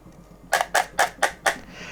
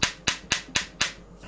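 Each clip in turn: First: Five quick tappy knocks with a mid-high clack and almost no ring: a counterfeit headphone shell sounding hollow. Second: Five quick, bright taps on a headphone earcup, each dying almost instantly: a firm, solid sound with no hollow boom.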